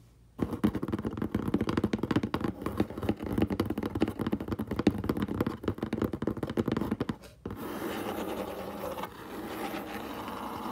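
Short fingernails of both hands scratch quickly across the side of a large, hollow, brown corrugated cardboard box, making a dense, rapid run of dry scratches with a hollow, low-mid body for about seven seconds. The scratching then stops and gives way to a steadier, softer, brighter rustling hiss that continues to the end.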